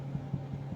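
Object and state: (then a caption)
Baked-through sourdough loaf (hollow). Soft, low, hollow taps on a freshly baked gluten-free sourdough loaf just out of the hot pan, with about four dull thumps over a steady low hum. The hollow sound shows the bread is done, and it then needs to cool on a rack for about three hours.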